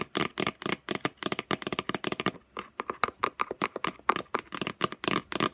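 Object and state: Cardboard gift box.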